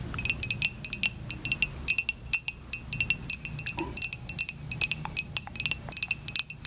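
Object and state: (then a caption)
Ceramic coffee mug. A dark glossy ceramic coffee mug, hollow and empty-looking, is held in the hand and tapped with long acrylic nails. Quick, uneven bursts of bright clicks each leave a brief high, bell-like ring over a faint low rumble.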